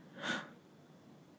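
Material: Nothing is struck.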